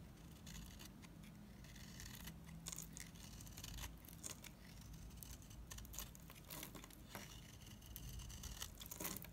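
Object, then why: Bar of soap cut with a knife blade. A solid, dried, mint-green oval Savoy soap bar is cut and scraped with a utility knife blade. Dense, dry, crackly scraping and crumbling clicks with bright, crisp edges run steadily over a low background rumble.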